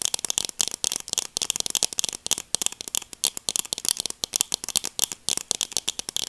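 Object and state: Plastic sunglasses.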